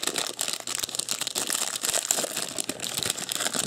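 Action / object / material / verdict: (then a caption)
scrape / plastic pill organizer in thin plastic wrap / plastic / none. A rectangular seven-day pill organizer of clear and coloured plastic compartments, hollow and apparently empty, is held in both hands while the fingertips grip and crinkle the thin clear plastic wrap it is still sealed in. The result is a steady, bright crinkling with dense sharp crackles and almost no low end, each crackle dying away quickly.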